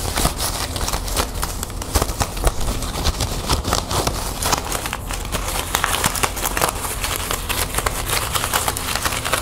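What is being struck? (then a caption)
Plastic ribbon gift bow. Long nails scratch and rub the loops of a green metallic plastic ribbon gift bow up close. The result is a steady, dense crinkling and scratching with many quick, sharp ticks, bright crackly texture, and a low rumble underneath.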